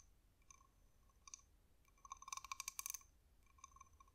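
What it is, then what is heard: Cowrie seashell tapped with fingernails. A small, hard, glossy, hollow brown spotted cowrie shell is held in the fingers and tapped with long manicured nails. Soft, scattered clicks give way to a quick burst of bright, sharp taps, each with a faint hollow ring around 1 kHz and a high, glassy overtone. The taps then thin back out to quiet clicks.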